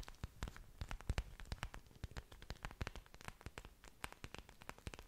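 Long dark nails scratch and tap the large, thick, waxy green leaves of an orchid plant with exposed aerial roots, held close to the microphone. Quick, dry clicks and scratchy rustles come in a dense, irregular stream, each short with a bright crackly edge over a soft low thump.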